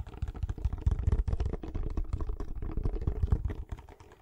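Fingertips and nails tap rapidly on the sides of a small, hollow, closed kraft cardboard box held near the microphone. The taps are dull, deep and hollow, with almost no brightness, and each dies away almost at once. The irregular tapping runs steadily before trailing off quietly at the end.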